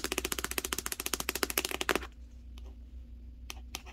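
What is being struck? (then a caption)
Large cardboard box. Long nails tap rapidly and scratch across the top panel of a large, hollow cardboard TV box with a Hisense logo, making a quick run of dry, bright clicks for about two seconds. The tapping then stops, leaving a low steady hum under a few scattered taps before the end.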